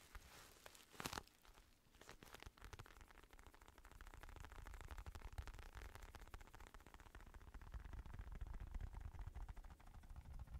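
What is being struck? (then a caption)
Padded synthetic leather boxing glove. A black Everlast padded synthetic leather boxing glove is held in both hands while fingertips tap and scratch its curved padded back. The result is a dense stream of soft, low, muffled scratching and irregular light taps with a faint crinkly texture, opening with a brief louder brushing burst near the start.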